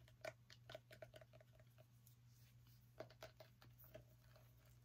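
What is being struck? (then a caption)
Small pumpkin rind and dry stem. Long nails tap and scratch the rind and dry woody stem of a small whole orange pumpkin held in the hand, making crisp, clicky taps with a short ring and a faint hollow tone. Quick bursts of tapping are broken by a quieter scratching stretch in the middle, all over a steady low hum.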